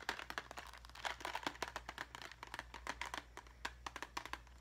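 Long fingernails rapidly tap and scratch a small clear plastic cube box full of craft gems, making about thirty quick, sharp, bright clicks mixed with a crinkly scratching texture. Each tap dies away almost instantly, and a faint steady low hum runs underneath.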